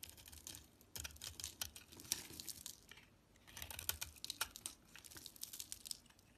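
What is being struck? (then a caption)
Soap bar. A utility knife blade carves brittle chunks off a solid, cream-colored bar of cream soap with a thin black coating, held in the hands. Dense, bright crackling and crunchy scraping clicks come in two busy stretches separated by a brief lull, with little low-end weight.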